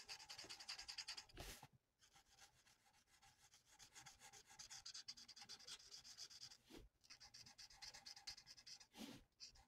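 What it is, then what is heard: Paper sheet coloured with a marker. A felt nib of a plastic alcohol marker is rubbed in rapid back-and-forth strokes across a thin, flat sheet of printed paper lying on a table, colouring it in. The result is a soft, bright, scratchy hiss made almost entirely of high frequencies, pulsing quickly with each stroke. There are a couple of brief quiet pauses and a few short, broad swishes.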